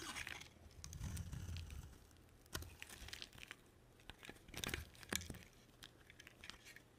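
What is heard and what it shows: A box cutter blade carves a solid, palm-sized green striped bar of soap. Soft scraping and dull rumbling shaves give way to a run of sharp, dry, crunchy cuts and crisp clicks with bright edges. Each cut dies away almost instantly.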